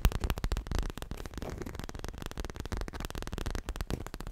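A soft, stuffed dark grey/black leather cushion is held against the body and tapped and scratched with medium-length natural nails and fingertips in fast tapping and rubbing motions. The result is a dense, continuous run of short, dull, low thumps that die away almost instantly, with faint scratchy rustling between them.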